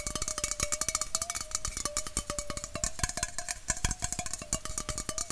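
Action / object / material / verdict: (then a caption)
tap / aluminum bottle-shaped can / aluminum / none. A red aluminum Coca-Cola bottle-shaped can, hollow and held horizontally, is tapped rapidly and steadily with fingernails near its base. Each tap is a sharp, bright click over a sustained ringing metallic tone near 600 Hz with clear overtones above it.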